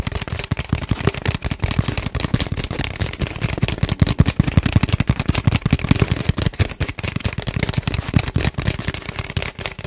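A long, hollow, empty brown cardboard tube, held horizontally in front of a microphone, is tapped and scratched with fingertips and nails. A rapid, steady stream of short, hollow, low thumps around 90 Hz continues throughout, each dying away almost instantly. A faint, bright scratchy texture sits over the thumps.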